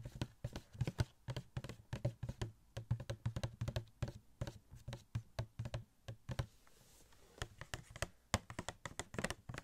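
Fingertips rapidly tap a small, hollow cardboard Funko Pop box for Star-Lord, which has a plastic window and the figure inside. The many quick, dry taps each carry a low, hollow thump and die away almost at once. After a brief pause near the end, the tapping resumes.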